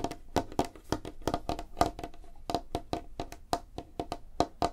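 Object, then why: Light wooden tabletop. Long fingernails on both hands tap rapidly across a large, flat, solid light-wood tabletop. The result is a quick, irregular string of crisp, dry clicks with very short decay and a faint hollow tone around 700 Hz.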